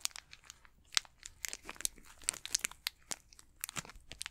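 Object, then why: Candy bar in a plastic wrapper. Fingertips crinkle and squeeze the plastic wrapper of an unopened Snickers candy bar. A rapid series of sharp, bright crackles pops out over a quiet background, each one dry with almost no ring.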